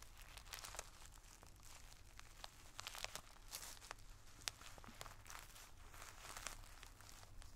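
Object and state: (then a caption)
Plastic zip bag of tissue paper, tapped and scratched. A wooden drumstick pencil tip taps and scratches across a clear plastic zip-top bag full of multicolored tissue paper squares, held flat by hand. Quiet, steady crinkling and scratching is broken by sharp, bright ticks of the tip on the plastic, over a faint low hum.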